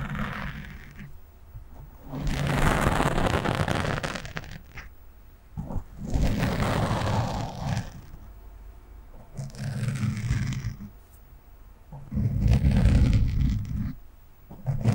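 Long nails slowly scratch a black foam windscreen on a microphone, producing a low, rumbling, crackly scraping. The sound swells in several separate passes of a couple of seconds each, with quieter gaps between them.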